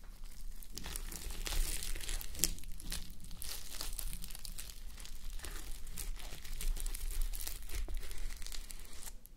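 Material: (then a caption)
Plastic sequins. Fingertips and nails rub and scratch a fabric sleep mask covered in plastic reversible sequins, resting on a white mannequin head. A steady stream of bright, dry crinkling and scratchy rustling runs over a low, constant rumble, with small swells and quick sharp clicks from the sequins.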